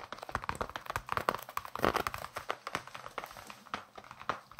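Fingertips and nails tap and scratch the leather surface of a solid, hand-sized baseball with red stitching, held in both hands close to the microphones. A rapid series of short, dry taps mixes with crinkly scratching, centered in the midrange around 600 Hz to 1 kHz with little low end. Each tap dies away almost instantly.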